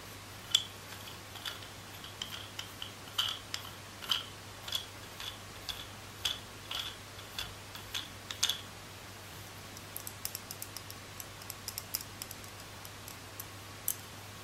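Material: Plastic.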